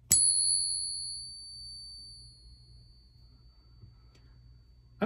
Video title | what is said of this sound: Someone sent me a MYSTERY BOX of coins and silver! What is it?! | it sounds good but I wonder if that that dink right there is causing it to sound a little bit off